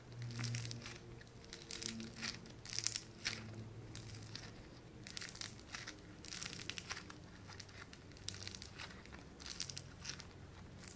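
A small, solid lump of light blue foam-bead clay (floam) is squeezed and crushed between fingers and thumbs. Rapid bright crackling and crunching pops come in dense bursts, over a soft low hum throughout.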